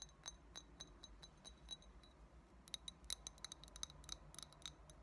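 Long nails tap the sides of an empty small clear shot glass with a thick blue base. The result is a quiet, rapid series of bright, high clinks and ticks, each dying away almost instantly, with a soft low hum underneath.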